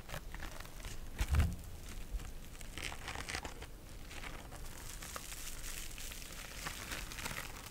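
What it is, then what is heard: Synthetic mesh scrub sponge. A small, soft pink scouring sponge with a synthetic mesh cover is scratched with long nails and squeezed by fingers. The result is a continuous bright, crinkly rustling with scattered crackles, peaking in a louder crunchy squeeze just after the first second.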